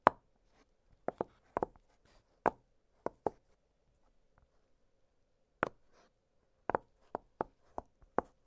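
Fingertips pop the bubbles of an octagonal blue silicone push-pop fidget toy, giving a string of short, dry, hollow pops centered around 1 kHz. The pops come at irregular intervals with quiet gaps between them, over a faint steady hum.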